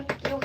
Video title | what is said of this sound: SoPea, Bath & Body is going live! making more bath bombs for @RockFitUK part 2 | turn deeper and sound hollow um when it's ready to unmold